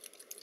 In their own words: And actually, if you shake it, you can hear the mercury inside.